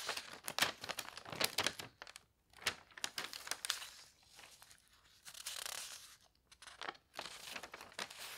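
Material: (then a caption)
Paper. Hands turn a page of an open paper newspaper lying on a bed and smooth it flat. Bright, dry crinkling and tearing-like rustles come in bursts with short quiet gaps, and there is almost no low end.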